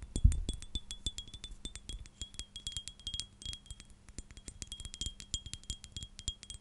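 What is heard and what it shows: Long dark nails tap and scratch a clear, hand-sized STR8 glass perfume bottle with a silver cap that holds liquid. A rapid, uneven run of bright glassy clicks and clinks sits over a faint, steady ringing tone. A soft low thump comes near the start.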